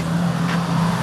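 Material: Nothing is struck.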